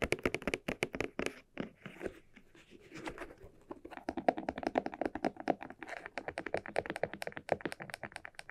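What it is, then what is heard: Leather cylinder bag. Fingertips and nails tap the surface of a small, hollow, red croc-embossed leather cylinder bag held in both hands. The result is a rapid, uneven series of dry, hollow taps with a mid-pitched tone and almost no ring, easing into a softer, quieter patch in the middle before picking up again.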